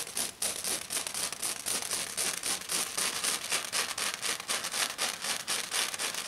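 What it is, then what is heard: Glitter foam sheet being scratched. One hand with long dark nails scratches fast across a flat silver glitter sheet, probably glitter foam, moving over the surface as it goes. The result is a dense, bright, hissy rasp in rapid, fairly regular strokes of about four per second, with almost no low end.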